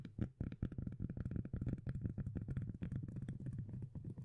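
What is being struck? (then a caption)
Flat round cork lid. Long nails rapidly tap and scratch the face of a flat, round, solid cork disc lid with visible grain. The result is a dense run of deep, dull thumps and soft rubbing scrapes. The sound is almost all low, with a dry, short ring.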